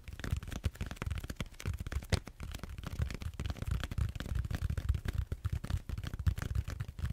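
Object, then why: Large foam roller. Fingertips and short nails scratch and squeeze the textured surface of a large, solid purple foam back roller held horizontally. The result is a steady stream of dense, dry crackling scratches and quick clicks with a heavy low thump underneath and faint bright edges.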